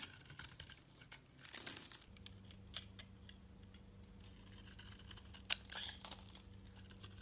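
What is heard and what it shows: A metal utility-knife blade scrapes and scores the surface of a hand-held, solid, oval tan-brown soap bar, shaving off flakes. Bright, dry scratching and crinkling fills the clip, with a louder rasping burst early on and a sharp click near the end. A faint, steady low hum runs underneath from about two seconds on.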